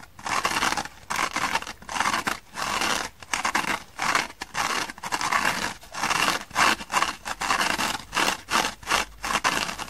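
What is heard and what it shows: Long painted fingernails scratch and rub the dark green abrasive nylon scouring layer of a small dry kitchen sponge held in the hands. The result is a run of short, bright, gritty scraping bursts separated by brief pauses, with a rasping texture centered around 1 kHz and almost no low end.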